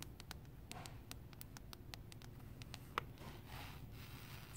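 A large roll of vinyl sheet flooring with a speckled grey surface stands upright in a store while fingertips and long painted nails scratch and rub across the solid roll. The result is quiet, dry scratching with a string of short, bright ticks over a low background rumble. One sharper click near the three-second mark stands out with a tone around 1.2 kHz, followed by softer rubbing.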